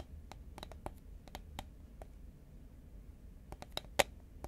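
Fingernails tap and click on the side of a tall cylindrical composite paperboard Pringles chip can held horizontally in both hands. The result is a scattered run of quiet, short, dry clicks over a soft low rumble, with one sharper, brighter click near the end.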